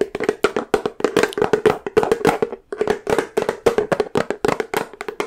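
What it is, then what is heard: Plastic peanut butter jar tapped with nails. Long nails tap and scratch the yellow plastic lid and the labeled side of a large, full plastic peanut butter jar. About three dozen quick, dry clicks come in uneven bursts, each with a hollow tone near 420 Hz and a bright edge. Every click dies away almost at once, with a brief pause near the middle.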